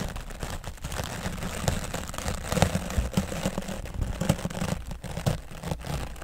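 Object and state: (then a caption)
Foam microphone windscreen being brushed. A grey foam microphone windscreen is brushed with an oval bristle dry brush, stroking from the left side. The result is a steady, muffled, low-heavy rustling and scratching, with denser, louder strokes now and then popping out as soft crackly bursts.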